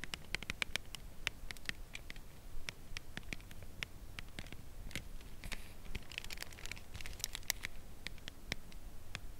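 Long nails tap the side edge of a full cardboard chocolate bar box held at a tilt. The taps come as a steady patter of short, dry, bright clicks that stop at once, over a low, rumbling background.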